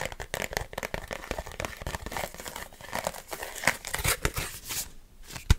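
Fingertips rapidly tap and grip a thin red plastic food container lid, with a knuckle grip close to the mic. The result is a dense, chaotic stream of crinkling, crackling plastic taps with bright edges, ending on a sharper, louder knock.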